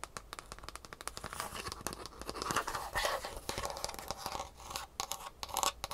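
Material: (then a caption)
Foam, plastic. Long fingernails scratch and tap a green foam shoe insole with a rigid plastic heel cup and rivets, held in one hand, working over both its underside and top surface. Quick dry ticks and raspy scratching strokes blend into a dense, bright scraping texture with short, clicky hits.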